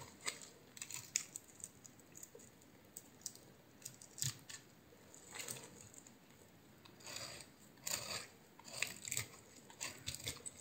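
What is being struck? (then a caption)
Bar of soap. A solid green oval bar of soap with a white core, held in the hand, is sliced and scraped with a utility knife blade and cut down progressively. Quiet, crisp scraping and crunching strokes come in short bursts and longer drags, bright and thin with almost no low end.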